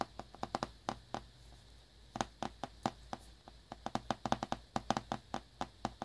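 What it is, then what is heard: Shrink-wrapped cardboard box. A small, hollow cardboard earbuds box in glossy plastic shrink wrap, held in one hand over a towel, is tapped and lightly scratched with fingertips and short nails. About 25 short, dry taps with a hollow knock near 780 Hz come in uneven bursts and die away almost instantly, with faint soft scratching between them.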